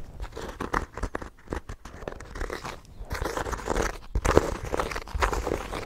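Fingertips and nails scratch and tap the cover of a small, solid, ornate embossed hardcover notebook held close to the microphone. Dense, dry crunchy scratches mix with quick soft taps, with a heavy low-end thump. Each sound stops almost instantly, with the strokes growing busier and louder in the second half.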